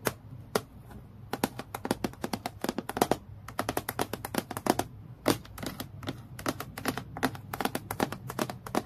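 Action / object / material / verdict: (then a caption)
tap / clear acrylic clipboard / acrylic / none. Long nails tap quickly on a clear acrylic plastic clipboard lying flat, striking the transparent sheet near its top edge. The clip is a dense run of short, bright clicks with a hollow plastic tone, each dying away almost at once over a low background hum.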